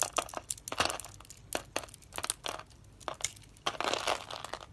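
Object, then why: Bar of soap cut with a knife blade. A utility knife blade scrapes and crunches small cubes off a solid, hand-sized pink and orange dry soap bar, pre-scored in a grid and held in one hand. A rapid, uneven run of short, dry, crisp crunches and crackly scrapes follows, bright with almost no low end. Each one cuts off quickly with no ring.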